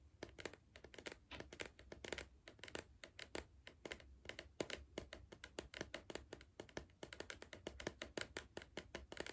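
Fingernails tap rapidly against the side of a hollow green cardboard Pringles tube held in one hand. The result is a steady, irregular stream of short, dry clicks with a hollow mid-toned body around 355 Hz and bright edges, each dying away almost instantly.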